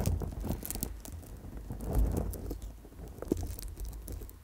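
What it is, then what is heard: Amethyst chip bracelet. Long glossy nails tap and scratch a round bracelet of small purple amethyst chips wired onto a coiled gold-tone wire core, held against the microphone. The result is a dense stream of quick, crinkly clicks and rubbing scratches over a deep, muffled rumble, with a heavier soft thump near the two-second mark and a sharp click shortly after three seconds.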